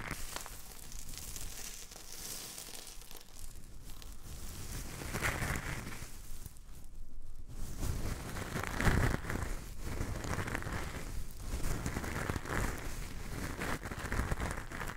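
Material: Salt.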